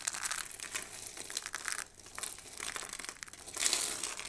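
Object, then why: Pile of thin soap shavings. Handfuls of thin, dry pink and blue soap shavings are squeezed and crushed in cupped hands, then pinched with the fingertips. The result is a dense, bright crinkling crunch with almost no low end, thinning out briefly in the middle before swelling into a louder, brighter burst near the end.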